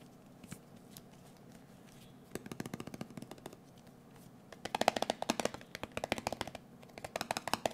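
A round blue metal Nivea cream tin, closed and held in the hand, is tapped with fingertips and nails. A few faint taps come first, then bursts of rapid, dry clicking tapping with a metallic ring around 720 Hz and bright edges, in a quiet setting.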